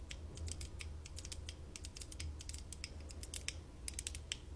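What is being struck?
Plastic light-up visor glasses.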